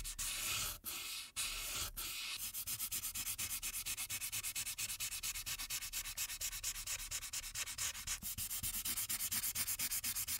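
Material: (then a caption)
Paper. A light-blue marker tip rubs back and forth across the top background of a printed paper coloring sheet lying flat. A dry, bright, scratchy hiss starts as a few longer strokes with brief pauses, then settles into a fast, steady run of short coloring strokes to the end.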